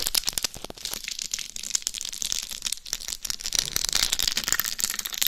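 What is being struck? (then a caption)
Rhinestone-studded hard shell dummy head. Long nails scratch across the top, then the face, of a life-size binaural dummy head microphone covered in rhinestones over a hard shell. The result is a dense, crackly scratching with rapid tiny clicks and ticks, mostly bright and high with little low end, growing slightly louder and busier toward the end.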